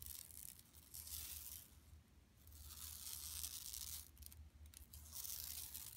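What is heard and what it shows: Long nails scratch along the edges and printed surface of a flat, empty yellow woven plastic mesh tote bag lying on carpet. The result is bright, raspy scratching in uneven bursts, separated by quieter gaps, over a faint low hum.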